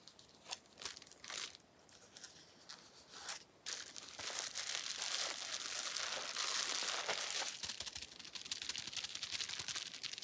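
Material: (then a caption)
Plastic. A small, clear plastic bubble wrap sheet with air-filled bubbles is held in the hands while the bubbles are squeezed and popped with the fingers. A few separate, sharp, bright pops come first, then from about four seconds a dense, continuous high crinkling and crackling of many small pops runs to the end.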